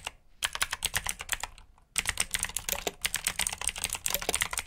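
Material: Plastic.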